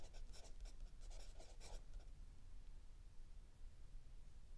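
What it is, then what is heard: Pencil writing on a notebook page. A mechanical pencil writes on a lined page of a spiral-bound notebook lying flat on a wooden table, with an open paperback book held still under the other hand. Soft, bright scratching strokes fill the first two seconds, then fade to a quiet low hum for the rest of the clip.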